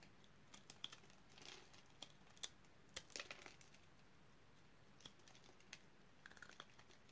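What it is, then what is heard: Dry bar soap, crunchy when cut. A box-cutter blade slices crunchy cubes off the surface of a solid purple bar of dry soap held in the hand. Quiet, sharp crunches and bright crisp snaps come in scattered bursts, with a few brief crumbly rustles, over a faint steady hiss. Each snap dies away almost instantly.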